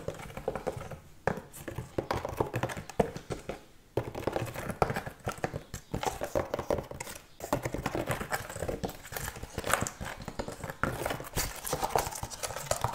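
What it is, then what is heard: Wooden object. A wooden object is tapped fast, giving a continuous run of short, hollow clip-clop knocks that stop almost at once and shift slightly in pitch. The tapping flows steadily, with brief pauses, across the whole stretch.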